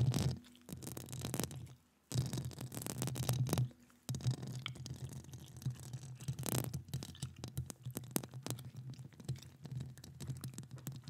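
Long acrylic nails scratch across the hollow metal mesh grille of a standing microphone. Dense scratchy bursts with a low, boomy hum and bright crackling edges are heard, with two short near-silent pauses around 2 and 4 seconds before the scratching continues steadily.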